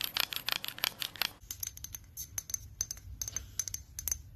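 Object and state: Amber glass spray bottle.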